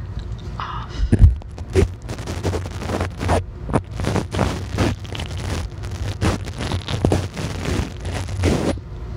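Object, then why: Metal mesh microphone grille. A spoolie brush with a green handle and white bristles scrapes and brushes the metal mesh grille of a small black handheld microphone that is bare, with no foam cover. It produces a series of low, rumbling scratchy strokes and thumps, with only faint high hiss.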